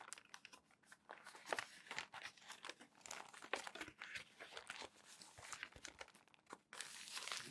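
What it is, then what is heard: Crumpled glossy magazine pages. Fingertips rub and smooth the pages of a crumpled stack of glossy magazine paper, and the pages are flipped. Dense, bright crinkling and crackling comes in quick irregular bursts, ending in a steadier rustle over the last second.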